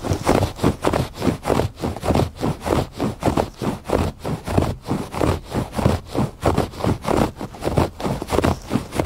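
Fingers scratch repeatedly across the loops of a textured woven fabric rug on a porch. About 18 steady, rhythmic strokes are heard as dull, rasping scrapes with soft low and mid tones and little brightness.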